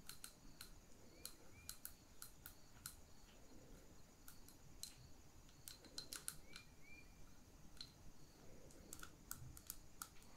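Long pink nails tap on the side and near the rim of a small glass jar holding a lit wax candle. About two dozen short, bright, glassy clicks land in an uneven rhythm, each dying away almost at once over a soft, low background hiss.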